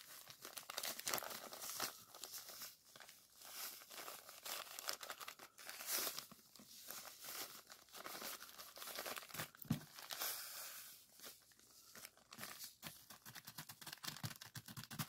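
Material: Plastic, sand.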